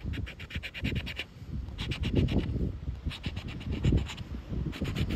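A round black plastic scraper repeatedly scratches the latex coating off a thin coated paper "Recompensa" lottery scratchcard, held by a hand with red nails as it lies on black rubber flip-flops on beach sand. Quick runs of bright, rasping strokes come in clusters separated by short pauses, over a steady low rumble.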